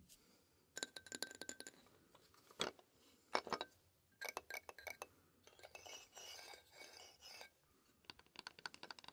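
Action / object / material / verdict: tap / toy xylophone, painted metal bars on a wooden frame / metal / none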